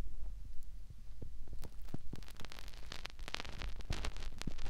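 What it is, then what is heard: Silicone ear rubbed by fingertips. Fingertips rub and press into the white silicone ear of a binaural microphone, giving close, muffled rubbing and soft thumping pressure sounds. The sound is dominated by low rumble, with brief bright crackles as the fingers shift against the silicone.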